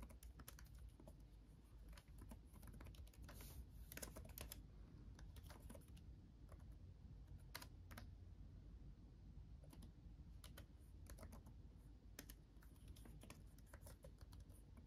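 Both hands type with their fingertips on a backlit laptop keyboard with plastic chiclet keys. The result is a continuous run of quiet, short, bright key clicks, some louder than others, over a steady low hum.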